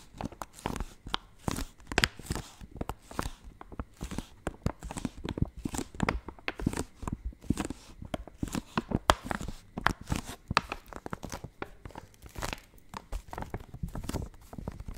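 A full, hand-sized yellow Maggi instant noodle packet made of thin plastic film is crinkled and scratched with long nails close to the mic. Dense, quick bursts of crinkling and crackling follow one another without pause, with a heavy low thump under each burst and little bright hiss. Each burst dies away almost at once.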